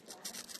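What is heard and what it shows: A fried Imsil cheese stick, cooked in a pan with a little oil, is handled so its crust gives off a quick run of dry, bright crackles and crunches, mostly high in pitch with almost no low end. The crust sounds crispy, crisp outside and moist inside.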